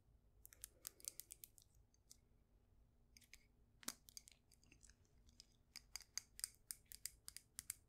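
A cream glazed ceramic mug with a handle, filled with soil and succulents, is held up and tapped with long nails. The sound is a quiet series of quick, bright clicks that stop almost instantly, coming in irregular bursts with short pauses between them.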